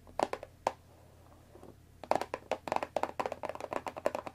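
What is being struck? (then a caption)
Cardboard tea box. Long nails tap rapidly on the top of a rectangular, hollow cardboard Earl Grey tea box holding tea bags, while hands grip its sides. A few scattered taps and a soft rustle give way to a dense run of quick, dry clicks. Each tap has a hollow midrange knock with a bright edge and dies away almost at once.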